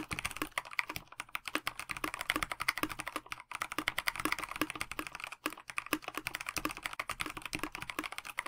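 Fingertips of both hands type continuously on a KBD67 Lite 65% mechanical keyboard with a plastic case, stock linear switches and translucent backlit Dinokeys Mints PBT keycaps. A rapid, steady stream of short, bright plastic taps is heard with very little low end, each dying away almost instantly. Brief pauses come at about 3.4 and 5.4 seconds.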